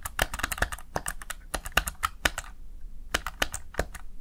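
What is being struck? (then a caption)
Plastic gaming keypad keys. Fingertips press the backlit plastic keys of a Razer Tartarus Chroma gaming keypad in quick typing, producing rapid, sharp, bright clicks with very short decay. A dense run of keystrokes fills the first two and a half seconds, then after a brief pause a few more scattered presses follow.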